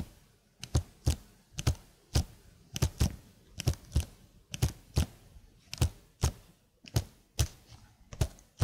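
Long blue nails slowly tap the keys of a slim black plastic keyboard held at an angle, producing about two dozen separate clicks. Each tap is a short, dull, low thunk with a faint bright edge, dying away almost instantly with quiet pauses in between.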